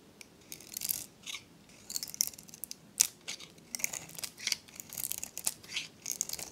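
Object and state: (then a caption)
Dry soap bar. A metal blade scrapes a dry, varnished, solid pink oval soap bar with an embossed logo, held in the hand, shaving it into crumbly flakes. Short, bright, dry scraping rasps come in irregular bursts, with almost no low end. There is no ring after each stroke.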